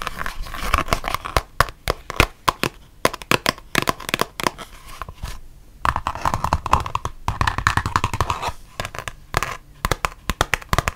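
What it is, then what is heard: Rubber-backed fabric mouse pad. A thin, flexible, solid printed mouse pad with a rubber-backed fabric surface is bent into a curve and tapped and scratched with long painted nails. Quick, sharp, dry taps come in uneven bursts, mixed with stretches of soft, scratchy rasping across the fabric and a faint steady tone near 1 kHz underneath.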